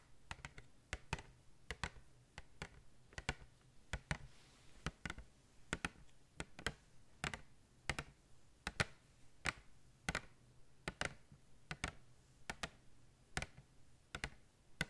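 Long red nails tap and scratch across the clear plastic of a cardboard-backed blister pack holding five small plastic tubes filled with glitter. About three dozen short, dry, bright clicks sound in an irregular series, each dying away almost instantly, with faint scratchy rustle and a low hum between them.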